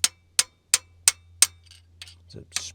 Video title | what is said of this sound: Will it START? V12 Supercharged 2 Stroke GM Detroit Dump Truck SITTING for YEARS | different sound you can hear it straight away it's a different sound a springing bouncing